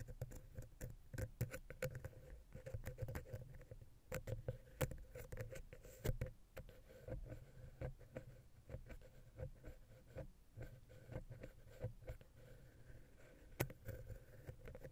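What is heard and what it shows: A wooden ear pick, held upright, taps and scratches between the capsules of the silver metal X/Y microphone head on a Zoom H6. The result is a quiet, rapid patter of dry, close thumps and scrapes, heavy in the low end with a faint steady tone around 500 Hz underneath. Each tap stops instantly with no ring.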